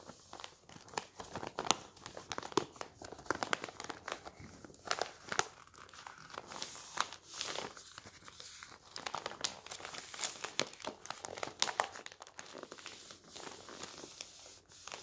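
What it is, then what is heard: Folded newspaper being crumpled. Hands rub over a folded paper newspaper and crumple the folded sheets, making dense, bright crinkling and rustling with many sharp crackles. The sound stays close and fairly quiet throughout, with almost no low end.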